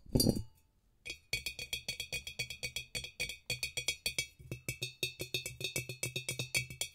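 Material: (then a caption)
Glass. A glass demijohn is tapped in a quick, steady run of short glassy clinks with bright ringing overtones and a soft low knock under each tap. The clip opens with a louder burst, then a brief silence before the rapid tapping begins.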